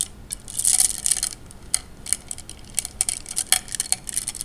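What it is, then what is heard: Glass gems clinking in water. Fingers push and rub glass gems together in a wet tray of water, producing a series of bright, sharp clinks. A busy cluster of clicks comes early, followed by more scattered, quick taps that die away almost instantly.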